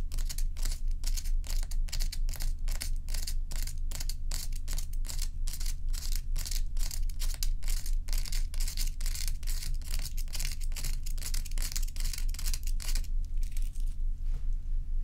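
Long acrylic nails scratch and tap the edge and side of a large solid ice block resting on a dark towel. Quick, fairly regular bright scratching strokes, about two per second, sit over a steady low hum. The strokes thin out and grow softer near the end.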